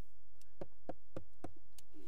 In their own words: 여기 전부 다 요거는 석재로 되어 있는데